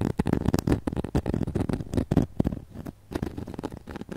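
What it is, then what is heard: Glitter foam ornament, scratched and tapped. A flat, glitter-coated foam snowman ornament is held up close while long nails rapidly scratch and tap its glittery face and arms. Dense, dry scratching and crackling come in quick bursts of short taps, mostly low in tone and soft, with a brief quieter pause near the middle.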